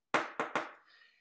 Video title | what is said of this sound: Magical Priests | it's empty it's glass I can tap it it's very fragile